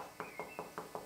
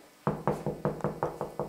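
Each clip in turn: First: solid masonry wall. Second: hollow plasterboard partition wall.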